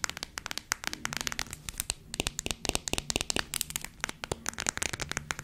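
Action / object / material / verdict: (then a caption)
tap / plastic squeeze tube / plastic / none. A small red squeezable plastic hand-cream tube, held close to a fluffy microphone, is tapped and scratched with long acrylic nails. Rapid, dry clicks and crinkly scratches come in quick irregular bursts, bright and sharp with almost no ring, over a faint low hum.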